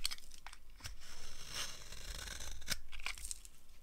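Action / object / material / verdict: scrape / bar of soap carved with a blade / soap / none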